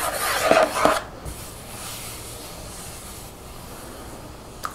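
Long fingernails tap and rub a translucent, mostly empty plastic shampoo bottle standing upright. A bright, hollow scratching rasp with two sharper peaks fills the first second, then fades to a faint hiss until a small click near the end.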